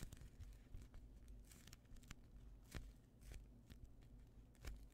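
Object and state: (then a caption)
Foam bread-slice squishy toy being squeezed. A hand-sized, soft, solid polyurethane foam squishy toy shaped like a slice of white bread is squeezed and pressed with the thumbs and fingertips. The result is quiet, soft crinkling and faint crackles with brief bright ticks over a steady low rumble, as the foam compresses and shifts under the fingers.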